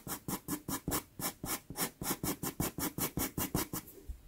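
A dark pastel pencil scratches outline strokes across a small taped sienna Pastelmat pastel paper card. About 18 short, rough scratching strokes come in a quick, uneven rhythm, each a bright, airy rasp with a low papery body. The strokes fade out at the end.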